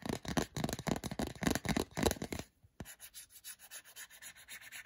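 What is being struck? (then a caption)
Soft silicone phone case. Fingertips rub and scratch the textured back of a small, hollow, empty, grey translucent soft silicone or rubber phone case held in the hand. Loud, dense, full-bodied rubbing strokes come at about four per second, then stop briefly after a sharp tap. They resume as quieter, thinner, brighter scratching strokes with a steady rhythm.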